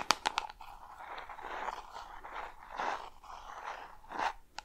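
Long red nails tap and scratch a small, hollow, peach-pink round plastic jar with a screw lid, working over the lid and sides close to the microphone. A quick run of sharp, bright taps opens the clip, followed by soft, crunchy scratching strokes that swell and fade. One last crisp tap closes it.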